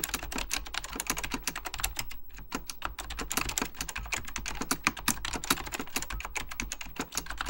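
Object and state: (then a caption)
Plastic mechanical keyboard being typed on. Fingertips type rapidly on an Apple Extended Keyboard II, a plastic mechanical computer keyboard with beige plastic keycaps and a hollow plastic case. The result is a dense, steady stream of sharp, bright key taps that die away almost instantly, with a brief pause just after two seconds.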